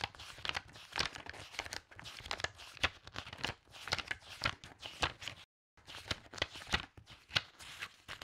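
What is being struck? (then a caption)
Stack of loose paper pages. A handful of aged paper pages is bent up from a stack of loose book pages, and fingertips and nails fan and flip through them rapidly. The result is a quick run of crisp, bright, papery flutters and snaps with short crinkling rustles between them. The flipping breaks off into a brief silence just past the midpoint, then resumes.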